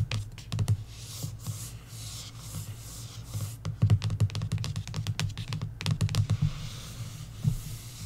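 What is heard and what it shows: Long nails trace, scratch and tap across the cover of a paperback coloring book. Soft, bright scratching swishes alternate with bursts of quick, dull taps that carry a low thump and stop almost instantly.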